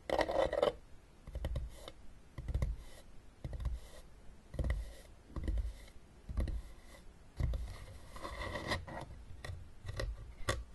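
Long nails scratch and tap the ridged top of a closed, hollow blue hard plastic game case. Irregular bursts of dry scratching, about one per second, land over soft, low hollow thuds that stop almost at once.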